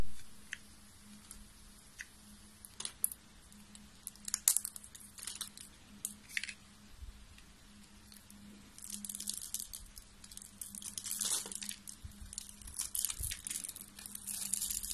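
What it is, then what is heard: Dry soap bar scraped with a blade. A solid, beige, hand-sized dry soap bar is held in both hands while its surface is scored and scraped with a metal box-cutter blade, flaking off shavings. Short, crisp, bright scratching crunches come in scattered bursts at first, then turn into denser, near-continuous scraping over the second half. A faint, steady low hum runs underneath throughout.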